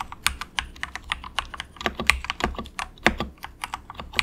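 Fingertips of both hands softly type on a compact, inexpensive mechanical keyboard with grey plastic keycaps. About twenty short, bright clacks land in an irregular rhythm, each dying away almost instantly, with a few louder key strikes standing out.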